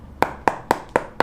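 Five firm, evenly spaced taps on the heel counter at the back of a Yonex Aerus 3 badminton shoe, each a short, dry knock with a hollow midrange tone and almost no ring. The solid sound shows a firm heel counter, giving the lightweight shoe very good ankle support.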